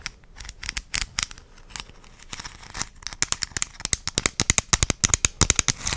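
A purple plastic gummy vitamin supplement bottle, small to medium sized with a white cap and a label, is held in one hand close to the microphone and tapped and scratched with long dark-painted nails. Sharp, bright plastic clicks and raspy scratches start sparse and then speed up into a dense, rapid patter over the second half.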